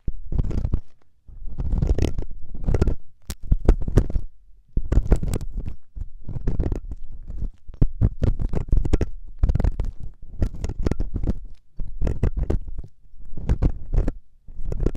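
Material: Silicone.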